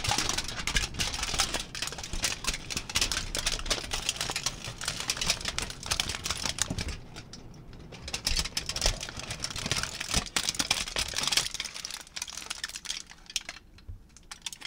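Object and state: Crinkled aluminium foil.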